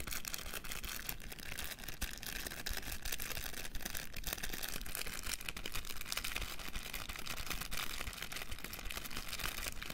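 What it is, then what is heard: Plastic cotton bud box. A small clear plastic box packed with pink cotton buds and a green label is held in both hands while fingertips and nails tap and scratch its plastic lid and sides. Fast, dense clicking and scratching runs steadily through the whole clip, crisp and bright, over a low hum.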